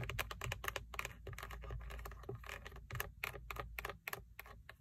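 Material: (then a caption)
Hard plastic. Long painted acrylic nails tap and scratch the hard textured plastic airbag cover, with its chrome logo, on the center hub of a Toyota steering wheel mounted in the car. A quick run of dry, bright clicks with almost no ring comes through over a faint, steady low background.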